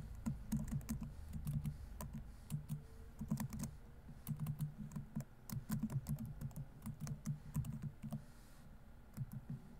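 Fingertips type fast on a laptop keyboard with plastic keys. Quick, soft, clattering key clicks come in uneven bursts with brief pauses between them. Each click has a dull, low body and dies away quickly.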